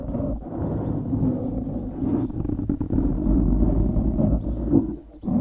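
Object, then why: Foam microphone windscreen. Fingertips scratch and squeeze a black foam windscreen on a microphone, making a dense, muffled rustling and crackling. The sound stays low and dull, with a steady rumble around the scratches and brief dips where the fingers pause.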